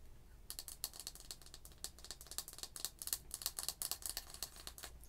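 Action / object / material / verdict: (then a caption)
tap / wax-filled glass candle jar with metal lid / glass / none. Long white acrylic nails tap the glass side of a medium red printed glass candle jar, filled with wax and topped with a gold metal lid. A rapid run of about 25 light, bright clicks follows, each dying away almost at once over a low background hum.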